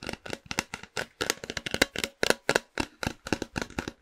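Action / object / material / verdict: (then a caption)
tap / cardboard snack tube / cardboard / none. A hollow, tall cylindrical printed cardboard snack can, held in the hand close to the mic, is tapped and scratched with fingernails. Around two dozen quick, crisp, bright taps and scratches come in an uneven rhythm, each dying away almost instantly with a dry, papery hollow knock.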